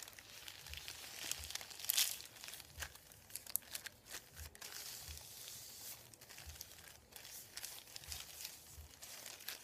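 Fingertips rub and crinkle a folded thin sheet of printed white paper resting on a wooden table. The sound is a quiet, steady stream of dry, bright crackles and rustles with almost no low end, and a few sharper, louder crinkles, the strongest around two seconds in.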